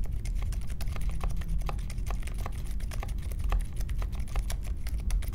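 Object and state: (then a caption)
Mechanical keyboard being typed on. Fingertips type steadily on the plastic keycaps of a compact Polaris mechanical keyboard with Silent Alpaca switches and a metal case, resting on a marble desk. The result is a continuous stream of soft, muted, low thocks with faint, brief clicks on top.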